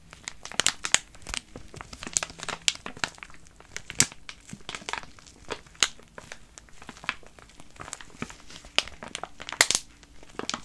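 A filled soft plastic pouch of wet wipes is held in both hands while fingers squeeze and crinkle it and nails scratch the film. The result is a steady stream of bright, crackly crinkles and sharp scratchy snaps, mostly high in pitch with little low end, and each sound stops almost instantly.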